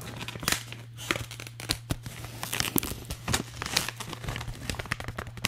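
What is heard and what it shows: A hollow, empty blue holographic metallized plastic foil bag is crinkled and scratched with fingertips and nails. The result is a dense run of bright, crackly rustles and sharp tearing-like crinkles over a steady low hum.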